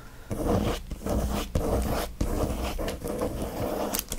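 Both hands quickly scratch fingernails across the shiny plastic wrap of a flat watercolor paper pad. Bursts of fast, rough scratching and crinkling follow one another, with brief dips between strokes. The sound is dense and textured, weighted toward the low end.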